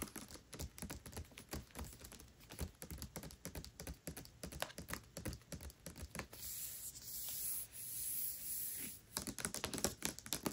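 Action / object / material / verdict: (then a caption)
tap / hardcover book with glossy paper dust jacket / paper / none. Long nails rapidly tap across the glossy paper dust jacket of the hardcover book *Tress of the Emerald Sea* as it lies flat, making a fast run of crisp, dry clicks. Midway the tapping gives way to a steady, bright scratching hiss over the cover for a few seconds, then the quick tapping returns.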